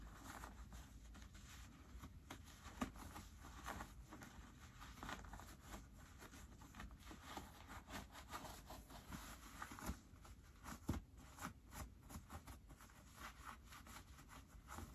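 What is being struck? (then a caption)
Cotton pocket linings of denim jeans. Fingertips pull the white cotton pocket linings out of light-wash ripped cotton denim jeans and push them back in. Quiet, steady fabric rustling and soft crinkling are heard, with brief muffled brushes and taps. The sound is mostly low and dull.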